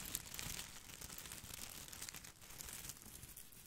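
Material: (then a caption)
Plastic. An artificial boxwood ball with plastic leaves is held over the microphone while fingers scratch and rub its leaves. The result is a quiet, continuous, bright crinkling and rustling, with small crisp ticks and a faint low rumble underneath.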